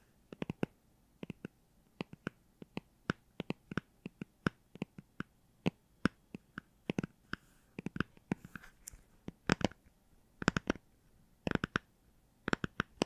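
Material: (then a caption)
Cardboard. Fingertips tap on the cardboard cover of a hardcover children's Star Wars book, giving quick, dry, clicky hits in uneven bursts. There is a brief soft scratching partway through. The taps have a low body with a light bright edge and almost no ring.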